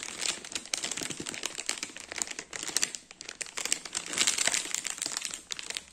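A large, soft round lemon ring cake (ciambella) sealed in a clear plastic bag is held, scratched and tapped with fingertips and nails on the bag. Continuous bright crinkling of the plastic, with many quick crackly taps and scratches and dips in loudness around the middle and end.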